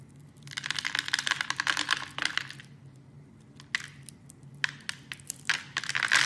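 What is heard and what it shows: A metal blade carves small cubes off a solid, hand-sized red soap bar scored in a grid. Bursts of dense, crisp crackling and scraping clicks with a bright edge come in waves, separated by quieter stretches over a faint low hum.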